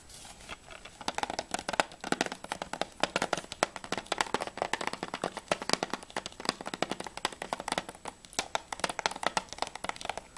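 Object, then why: Plastic game case. Fingertips tap rapidly on the plastic sleeve of a Battlefield Bad Company PS3 game case, first on the front cover and then on the back. The steady stream of short, dry clicks has almost no ring, a hollow midrange knock and bright plastic edges, with nearly no low end.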